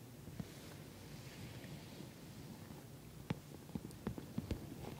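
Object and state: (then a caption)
Patent vinyl cosmetic bag. Long nails tap and scratch the top of a glossy orange patent vinyl cosmetic bag. Soft, low scratching rustle runs throughout, and short sharp taps come near the end. The taps are quick and dry with no ring.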